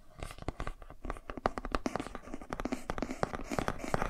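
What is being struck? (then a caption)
Thick cardboard board book. Fingertips and nails scratch and tap along the page edges and spine of a thick cardboard board book held horizontally. It makes a steady run of dry, quick taps and scratchy rustles that die away almost at once, with a papery midrange around 750 Hz and a soft low thump under each tap.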